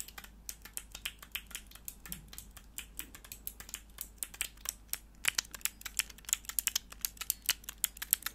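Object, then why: Plastic mechanical keyboard switch tester. A small, hollow clear plastic mechanical keyboard switch tester with four switches and grey plastic keycaps is handled close to the microphone while long nails press and click the keys. The result is a rapid series of short, sharp, bright clicks with almost no ring. The clicks grow louder and denser in the second half.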